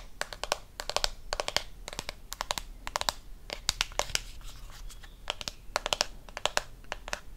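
Fingernails tap quickly on a blue plastic deodorant stick, making bursts of sharp, bright clicks in rapid clusters with short pauses between them. Each tap is dry and dies away almost instantly.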